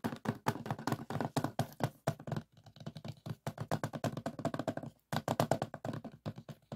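Fingertips and nails tap rapidly on the back of a closed hard plastic DVD case lying flat, making dense bursts of short, dull clicks and knocks. The taps come in quick irregular runs with brief pauses, each dying away almost instantly.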